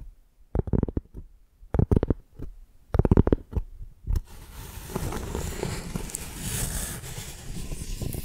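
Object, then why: Piece of tree bark. Long painted nails lightly scratch a flat, rectangular piece of tree bark with a ridged tan surface, held in both hands. Short, low, dry scratchy bursts come first with quiet gaps between them. Then, for the last four seconds, they turn into a steady, rough scraping with a brighter hiss over it.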